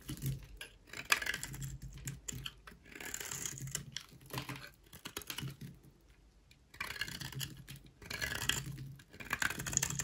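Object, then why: Bar of soap shaved with a blade. A solid beige rectangular bar of dry soap, held in the hand, is shaved into curls with a utility knife blade. Bursts of dry, bright scraping and crackling alternate with short quiet pauses between strokes.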